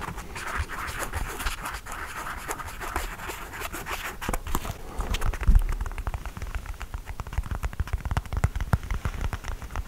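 Fingernails scratch the knit upper and heel of an empty cream textile sneaker with a rubber sole while it is held up. For the first half, a steady, dense rasp sits around 1–2 kHz. After that, the scratching turns choppier, with short dull thumps and low rumbling knocks dominating the second half.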